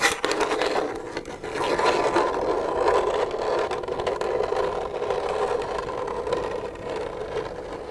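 Long nails tap and rub on an empty, hollow, translucent plastic milk jug held in the hand. The result is a steady, dry scratching and rustling with a hollow midrange resonance and a few sharper taps near the start.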